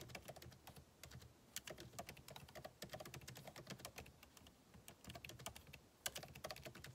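Fingertips of both hands type rapidly on a backlit MacBook Pro keyboard with plastic keycaps in a solid aluminum body resting on a desk. A steady, quiet stream of quick, dry, bright key clicks with very short decay is heard. A few louder taps stand out near the 1.5-second and 6-second marks.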